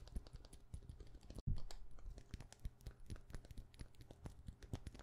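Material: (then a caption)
Plastic. A hollow, white frosted plastic lid sitting on a glass perfume bottle, held in the hand, is tapped rapidly with long painted nails. The result is a steady stream of quick, dull plastic clicks with low, hollow thuds and very short ring. A brief silent gap comes just before the loudest burst of taps, around a third of the way through.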